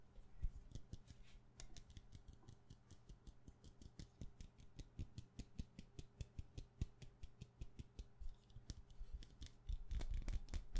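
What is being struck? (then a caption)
Wax pillar candle. Long nails tap fast on a solid white wax pillar candle held in the hand, making quick, dry clicks with a soft low thud under each one. The taps come in an uneven, rapid stream, and each dies away almost at once. A denser, louder flurry of taps closes the clip.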